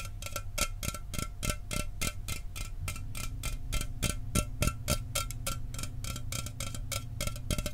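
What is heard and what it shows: A sealed, hollow 12 oz Mountain Dew aluminum soda can is held in one hand and tapped rapidly with the fingernails of the other. The fast, slightly uneven taps give short, bright metallic clicks with faint ringing tones, over a steady low hum.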